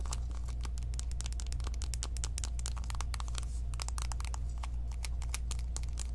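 Long nails tap rapidly on the flat faces of a small, closed, hollow pink cardboard eyeshadow palette box. A steady stream of sharp, bright clicks plays over a constant low hum throughout.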